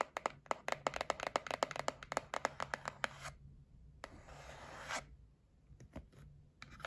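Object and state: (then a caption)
Cardboard box tapped with nails. A white printed cardboard gift box, held in the hand, is tapped and scratched with long nails. A quick run of sharp, dry, mid-pitched taps comes first, then a steady bright scratching rasp across the surface. A few sparse taps follow, with a short scratch at the end.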